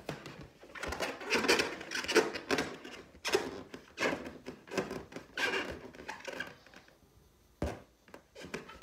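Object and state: Clear latex balloon being scratched and tapped.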